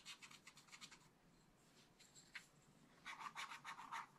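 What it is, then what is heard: Scratch-art paper being scratched with a stylus. A wooden stylus scratches short strokes across the coated areas of a black scratch-art paper page in a small spiral book. It makes quick, dry scratching bursts with a bright, rasping tone around 1.2 kHz and above, with little low end. A quiet stretch of faint scraping in the middle leads into a louder run of strokes at the end.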